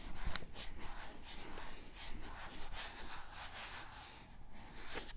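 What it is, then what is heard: Plastic cup of cotton swabs being shaken. A small clear pink plastic cup full of teal cotton swabs is held and tilted beside the mic and shaken, with long nails also on the cup. The swabs give a continuous soft rattle and rustle with a low rumble underneath and a brighter clatter at the start.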